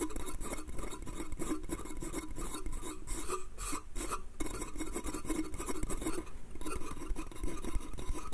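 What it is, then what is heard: Wooden slatted crate. Fingertips and nails tap and scratch across the slats of a small, hollow pine slatted bath crate. The result is a dense, steady rasping texture with quick, dry taps that die away almost instantly, carrying a low, hollow body under the scratching.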